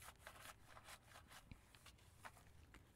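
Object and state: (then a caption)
Aluminum alloy car wheel rim being wiped. A hand with a cleaning cloth or sponge rubs and wipes the spokes and hub of a five-spoke silver aluminum alloy car wheel rim mounted on a tire, then moves toward the lower rim edge. Quiet, repeated swishing strokes with soft bright hiss, over a low rumble.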